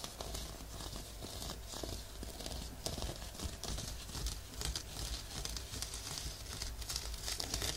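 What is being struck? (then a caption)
Woven fabric exfoliating glove. A looped, off-white woven fabric exfoliating glove, worn on a forearm above a binaural microphone, is scratched and rubbed with the fingertips of the other hand. The result is a steady, dense crinkling scratch with a bright, hissy texture over a low rumble, swelling slightly in places without clear breaks.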